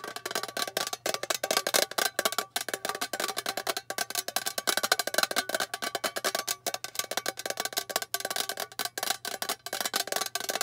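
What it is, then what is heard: Metal tin box, fingernail tapping. A small rectangular hollow metal tin with a lid is held upright in both hands while long painted fingernails fast-tap its flat metal face. Rapid, dense clicky taps with a bright, tinny ring that dies almost instantly, continuing steadily throughout with many overlapping hits and no talking.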